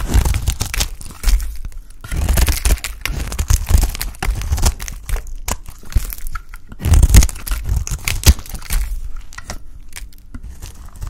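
A bright green solid bar of dry soap, held in the hand, is cut into chunks with a utility knife blade. The blade makes dry, crunchy, tearing scrapes in uneven bursts, with sharp snaps as pieces break away and short quiet pauses between cuts.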